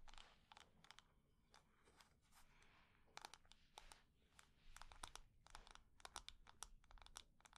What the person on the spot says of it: textured surface scratching, quick and medium tapping, wood-on-wood lid sounds